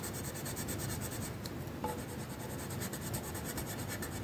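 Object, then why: Wooden colored pencil on paper sheet. The tip of a magenta wooden colored pencil rubs back and forth across a flat paper coloring sheet, making a steady, soft scratching rasp. The strokes blend into a continuous texture with a faint bright hiss on each pass.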